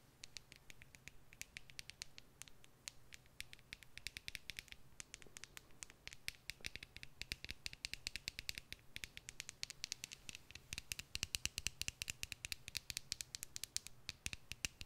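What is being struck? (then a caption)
Clear plastic tube filled with glitter. Long nails scratch and tap along a clear plastic tube filled with red glitter. A quiet, rapid run of crisp, bright clicks and scratches, each dying away almost at once, grows denser and slightly louder toward the end over a faint low hum.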